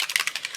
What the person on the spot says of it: if you can hear there's a little bead inside there you want to make sure that that bead is really shaking up well